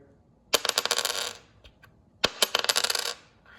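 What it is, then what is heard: Normal copper penny. A normal 1973 copper penny is dropped twice on a table as a reference sound, for comparison with a 1961 lamination-error penny. Each drop gives a bright metallic clink followed by a rapid series of bright bouncing rings that settle within about a second.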